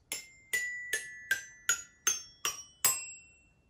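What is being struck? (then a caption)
Toy xylophone, metal bars struck with plastic mallet. A child's pull-along toy xylophone with painted, colored metal bars on a red and white plastic frame is held at chest height and tapped with a yellow plastic mallet. Eight separate bright, metallic pings ring out at a steady pace, each with a sharp attack and a short decay, the pitch changing from bar to bar.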